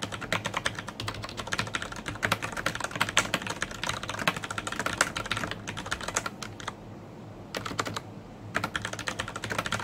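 Fingertips type rapidly on a black plastic mechanical keyboard with Cherry MX Brown switches, red-backlit keycaps and a hollow housing, heard close-up. Dense, bright clacking keystrokes run almost continuously over a low steady hum. Brief pauses come near the middle and end before the typing resumes.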